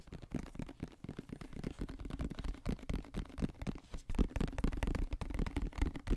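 A medium white plastic lotion bottle with a green cap, its contents not visible, is held sideways in both hands and tapped and scratched quickly with fingertips and nails. The result is a fast, uneven stream of dull, low, hollow taps with short scratchy brushes in between. Each tap dies away almost at once, and the sound stays soft and muffled throughout.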